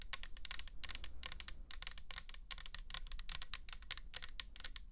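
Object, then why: Plastic bottle with label. Long nails tap rapidly and continuously on the label of a pink plastic toner bottle filled with liquid, making quick, dry, bright clicks that stop short with no ring. A steady low hum sits underneath the tapping.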